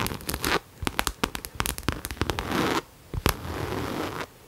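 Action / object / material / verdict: tap / coated canvas crossbody bag / coated canvas / none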